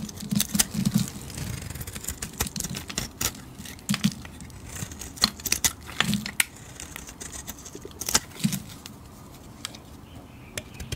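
A metal blade shaves thin shavings off the edge of a solid yellow bar of soap, making a series of crisp, bright scraping and crackling strokes with faint low thuds. The strokes come in quick, uneven bursts, then thin out into quieter rustling as the bar is handled.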